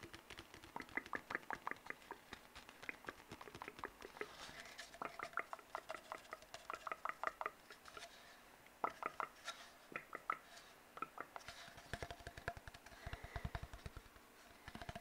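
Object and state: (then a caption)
Empty cardboard tube. An empty, hollow brown cardboard tube is tapped and scratched with fingertips and nails while being moved around in front of the mic. Quiet, rapid, dry taps come in bursts, each with a hollow ring near 1.3 kHz, mixed with soft scratchy rustling. The tapping quickens into dense flurries toward the end.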